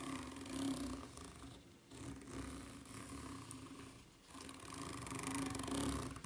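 Long nails scratch the serrated underside of a white ridged rubber flip-flop sole, making a continuous raspy, rattling scrape. The scratching swells and fades in three long passes, with brief lulls between them, over a steady low hum.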